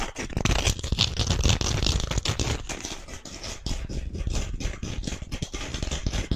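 A thin, flat emery board nail file with a blue patterned abrasive surface is held in both hands close to the microphone and scratched and rubbed with fingernails. Fast, rough scratching and scraping strokes run continuously, with a heavy close-up low rumble and bright gritty texture on top. The level stays fairly steady throughout.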